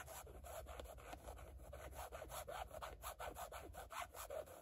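Long fingernails scratch a rigid black carbon-fiber patterned panel in short, quick strokes. This produces a steady run of dry, rasping scrapes with a midrange bite and a low rumble underneath.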